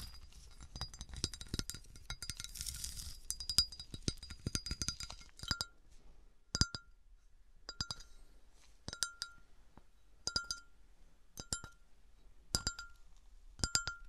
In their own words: 21:06 - 27:01 - Melted glass bottle, tapping with some bassy scratches